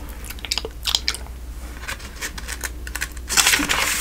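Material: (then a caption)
Paper. A hand flips the thin newsprint pages of a thick telephone directory lying open, one after another, making crisp, bright papery flicks and crinkles over a faint low hum. Near the end, the turning swells into a louder, continuous rustle.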